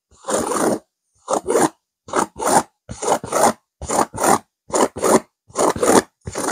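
Fingernails scratch rapidly and aggressively across a stuffed pillow with a purple velvet cover and a silver geometric pattern. The result is dry, rasping scrapes: one longer stroke, then quick strokes in pairs at a steady, brisk pace, with short silences between them.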